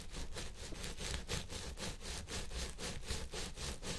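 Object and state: Synthetic fiber wig.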